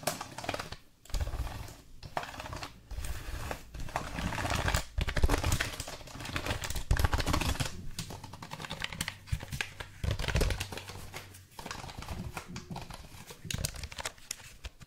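A black plastic backlit computer keyboard is held close while fingertips and nails tap and type on the keys and tap the edge of its case. Quick, uneven clicks and clacks run through the whole clip, thick in the low end with a bright clicky top. Short pauses break up the stream of taps.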